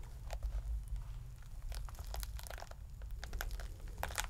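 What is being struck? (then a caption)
Pomegranate rind. Fingertips and thumbs pry and tear the leathery rind of a scored whole pomegranate, full of seeds, until it cracks open into halves. Short, bright crackling and crinkling snaps come in quick bursts over a steady low rumble, each dying away almost instantly.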